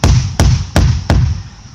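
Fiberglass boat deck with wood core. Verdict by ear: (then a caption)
Soft. Four taps on an untreated section of an Aquasport fiberglass boat deck with a rotted wood core, compared against a nearby injected, hardened area. Each tap gives a dull, low thud with a short boomy decay, the sound of soft, unsound deck.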